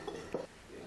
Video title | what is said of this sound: 600元一斤的礼云子，味道胜过蟹黄，用来清蒸味道一绝！ | Fresh ginkgo tapping with a hammer With a click, the shell cracked